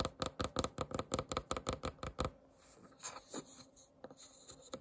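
Long nails and fingertips scratch and rub across the grain of a round, solid, varnished wooden candle lid. A run of quick, evenly spaced scratching strokes with sharp, bright edges fills the first half. The sound then fades into softer, scattered rubbing and light scrapes.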